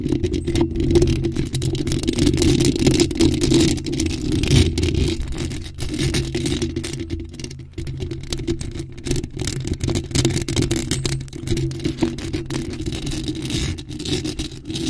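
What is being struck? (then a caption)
Metal mesh microphone grille. Long pointed nails scratch and tap rapidly across the top of a bare, hollow black metal mesh microphone grille. The result is a dense, continuous scraping and thudding, heavy in the low end with a faint bright hiss above, easing slightly in loudness after the first few seconds.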